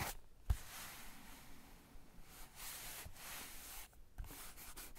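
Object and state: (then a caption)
Paper sketchbook page being rubbed. Fingertips of both hands rub and scratch across a blank white page of a spiral-bound sketchbook resting on a cork desk, with one hand lifting briefly at the end. A soft, low thump comes near the start, then steady, bright, hissy paper rubbing follows in waves with short quiet gaps.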